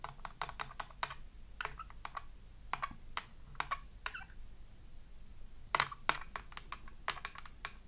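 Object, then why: Glass hand mirror tapped with fingernails. Long acrylic nails tap rapidly on a small round glass hand mirror in a red plastic frame lying flat on a wooden table. The result is quick, bright, sharp clicks with almost no ring, coming in uneven bursts over a faint low hum.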